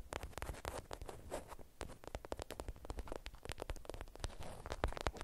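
A watermelon-print beeswax-coated cotton food wrap bundle is scratched on a mat, then picked up, squeezed and crinkled with long acrylic nails. It makes a quiet, dense run of dry, rapid crackles and scratchy clicks that reach bright highs, over a soft low rumble. Each sharp snap dies away almost instantly.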